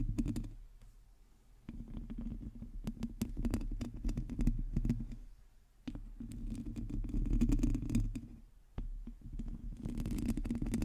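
Long teal nails on both hands scratch and tap a hollow, domed metal mesh microphone grille. The result is dense, scratchy rustling with quick clicks and a boomy low resonance, coming in bursts that swell and fade between quieter gaps.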